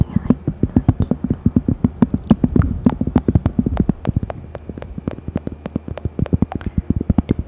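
A thin, solid, round cork coaster printed with a bear is held in front of a microphone and pressed close to the face, then scratched and tapped with long fingernails. It makes a fast, steady stream of dozens of short, dull, low taps with quick bright clicking edges. Each tap dies away almost instantly.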